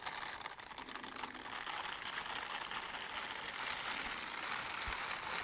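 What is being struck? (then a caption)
Silicone bristle gloves. Teal silicone dishwashing gloves with bristle palms are held upright, palms together, and rubbed against each other close to the microphone. The result is a dense, steady, bright scratchy rustle of bristles brushing over bristles, with almost no low end, growing slightly louder as it goes.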